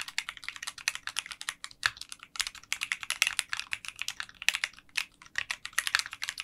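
Fingertips type continuously on a 60% mechanical keyboard with translucent pink polycarbonate keycaps in a clear case. A rapid, uneven stream of short, bright clacks with almost no low end dies away instantly after each keystroke.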